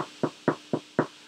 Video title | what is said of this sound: Brunch Around the World | if it's got a very nice thud that sounds a little bit hollow on the inside, that means it's more or less done